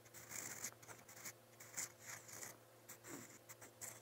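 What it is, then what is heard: Pen nib writing on paper. A metal fountain pen nib scratches strokes across a lined white paper notebook page, writing letters in brown ink. The close, bright scratching comes in short bursts of varying strength, with faint tonal hum underneath.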